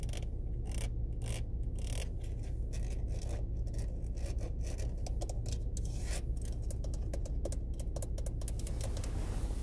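Long red-painted nails tap and scratch along a small, hollow black plastic windshield-wiper stalk and its ridged rotary switch on an SUV steering column. The result is a quick, uneven run of sharp clicks and scrapes over a steady low hum.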